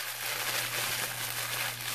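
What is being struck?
Nothing is struck.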